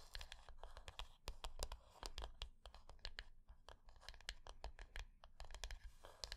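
Long nails scratch and tap the lid top of a small, closed, rectangular hollow wooden box resting on dark cloth. A quick, irregular run of sharp, bright clicks mixes with rough scratching over a low, dull rumble. Each tap dies away almost at once, leaving a dry, close sound.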